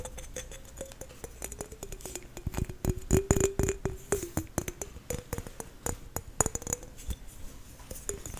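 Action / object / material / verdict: tap / whole apple, tapped with fingernails / apple skin / none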